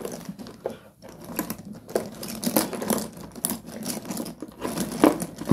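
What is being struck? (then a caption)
Broken slate pencil sticks in a cardboard box. A hand presses, scoops and drops broken pieces of solid slate pencil sticks in a pile inside a cardboard box. The result is a dense run of crisp, crunchy clicks and small clattering taps that overlap and rise into brief louder bursts. Each contact is short and dry, with almost no ring.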